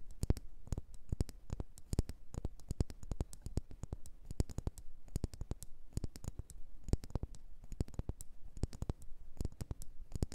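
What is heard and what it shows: Long nails tap and scratch a solid red faceted wax pillar candle in a rapid, uneven stream of quick clicks. Each dull tap dies away almost instantly, with most of its weight low but a faint bright edge on the sharper strikes. The result is a quiet, steady patter of dense tapping.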